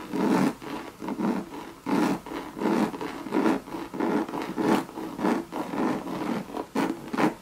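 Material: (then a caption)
Coated canvas. Long red nails scratch and rub the body and base of a hollow Louis Vuitton monogram coated-canvas bucket bag. The result is a series of irregular, raspy scraping strokes with a hollow, low-mid body, each swelling and fading quickly with short pauses between.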